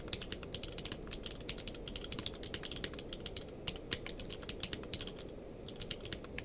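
A full-size mechanical keyboard with a blue-grey case and white and grey plastic keycaps, lying on a blanket, is typed on rapidly with the fingertips of both hands. It makes a steady stream of bright, short clicks, about 44 key presses that each die out almost at once, over a soft low rumble.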